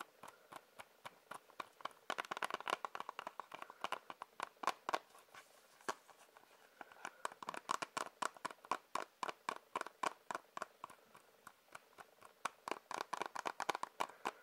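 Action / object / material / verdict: tap / plastic disc case / plastic / none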